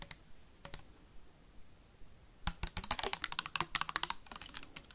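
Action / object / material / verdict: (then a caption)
tap / plastic sanitizer bottle tapped with metal paperclips / plastic / none. A clear plastic sanitizer bottle with a white cap, held sideways near the mic, is tapped fast with metal paperclips. A few sparse, sharp clicks come first, then a rapid flurry of bright, dry ticking taps that die away almost instantly.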